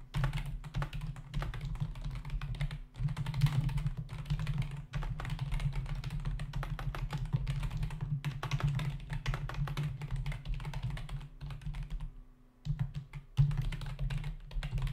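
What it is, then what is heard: Plastic computer keyboard. Fingertips of both hands type fast on the hollow keys of a full-size black plastic membrane computer keyboard resting on a desk. The result is a dense, continuous stream of quick plastic taps with a heavy low-pitched body. The tapping briefly drops away near the twelve-second mark before resuming with a sharp burst.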